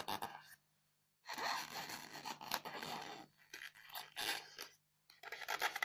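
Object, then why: Polystyrene foam block. Long fingernails scratch and rub the top of a solid, square white polystyrene foam block covered in loose beads. Bursts of dry, bright scratching and crackly rubbing alternate with short silences, over a faint steady low hum.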